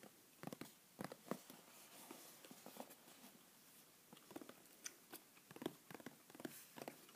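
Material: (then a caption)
Cardboard. A small, hollow white printed cardboard mailer box from a Lick My Dip hot sauce subscription is held and rotated while fingertips and nails tap and scratch its sides and edges. The sound is quiet, with short, dry, hollow taps in scattered clusters and bright, scratchy rustles between them.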